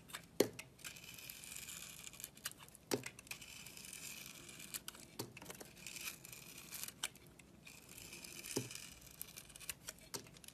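A utility blade shaves the red textured coating off the edges of a solid bar soap with a brown core. Dry, bright scraping and crinkly, tearing-like shaving strokes repeat throughout, broken by a few sharp clicks where the blade catches the edge. The red coating comes away from the bar's edges.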